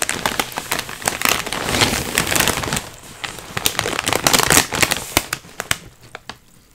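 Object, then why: Foil-lined plastic chip bag with chips inside. Hands grip, squeeze and flip over a full, sealed Miss Vickie's foil-lined plastic potato chip bag, and both the bag and the chips inside crinkle. A dense, bright crackling and crunching runs for about five seconds, then breaks into sparser sharp crinkles that fade toward the end.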